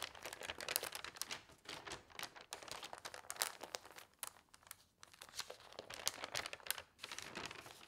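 Fingertips with long nails rub and smooth the sheets of an open newsprint newspaper lying on a table, then lift and turn a page. Dense, bright papery rustling and crinkling comes in bursts, broken by brief quieter gaps. There is almost no low end.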